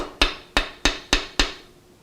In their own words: it sounds like glass